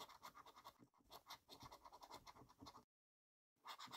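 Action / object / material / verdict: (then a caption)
scrape / paper scratchcard scraped with a coin / paper / none. A coin scratches down a column of latex-covered numbers on a yellow paper scratchcard, making a rapid run of short, bright, rasping strokes. The scratching stops for about half a second of silence, then resumes with a few more strokes.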